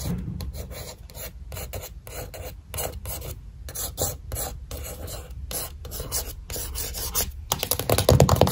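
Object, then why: Cardboard eyeshadow palette cover. Long white pointed nails tap and scratch the printed cover of a flat, thin cardboard eyeshadow palette printed "Dream with a Vision" lying on a table. Quick, irregular bursts of dry rasping and scratching with short tapping clicks sit over a steady low rumble, growing louder and denser toward the end.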